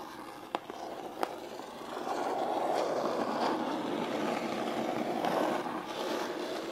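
Long pointed pink nails on both hands tap twice on the top lid of a closed, flat, medium-size brown corrugated cardboard shipping box, which is hollow. The nails then scratch the lid in a steady, dense rasp centered in the midrange, with a bright hiss above it, swelling and easing over several seconds.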